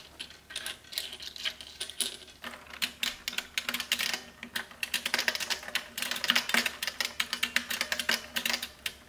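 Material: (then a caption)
Plastic. Long nails type quickly on a beige plastic mechanical keyboard with white shells lined up along its front edge. The result is a steady run of bright, clacky key taps with short, crisp decays, growing slightly louder and denser in the second half.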